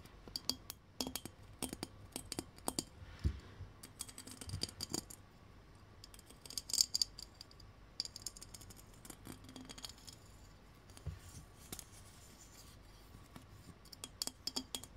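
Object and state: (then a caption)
Ribbed glass Christmas bauble. A fist-sized, round, hollow silver ribbed Christmas bauble, probably glass, with a dark cap, is held in one hand and scratched and tapped along its ribs with the fingernails of the other hand. Quiet, bright fingernail clicks and scratchy rasps come in irregular clusters, each dying away almost instantly with a faint glassy tinkle.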